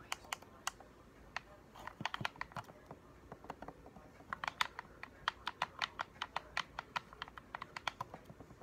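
A hollow black plastic game controller has its buttons clicked with the thumbs, then is turned while fingertips and nails tap its shell. Around 33 short, bright plastic clicks and taps come in an irregular run, each dying away almost instantly, centered near 1 kHz over a faint, quiet background.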